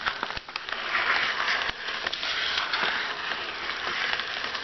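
Fingertips and short nails tap and scratch lightly on the surface of a flat white paper padded mailer lying on a desk with a book inside. The result is a continuous dry, crackly scratching rustle, bright and with almost no low end, broken by occasional sharp little taps.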